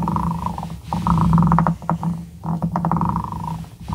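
The twisted, ridged shaft of a glass dip pen is rubbed back and forth across the edge of a small, solid light-wood cube held by fingertips. This produces a low, buzzing, ratchet-like rasp with a steady tonal drone. The sound swells and dips with each stroke, with brief pauses between passes.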